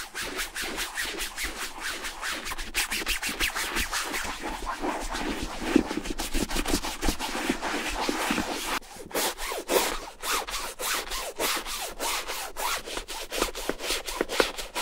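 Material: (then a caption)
Canvas. A wooden-handled bristle brush scrubs the foamy canvas panels of a vintage beige Burberry canvas shopper bag with leather trim, cleaning it in circular and back-and-forth strokes. A steady, bright, scratchy bristle rasp with wet, foamy texture runs throughout. About halfway, the strokes become more distinct, rhythmic back-and-forth swipes.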